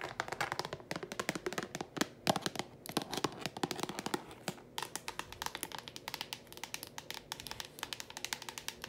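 Long pointed painted nails tap and scratch fast on the lid and sides of a blue translucent rectangular plastic food container with a lid, hollow and apparently empty, held in a hand. The result is a dense stream of sharp, dry, bright clicks with almost no ring, mixed with a scratchy rustle. The taps become more evenly spaced in the second half.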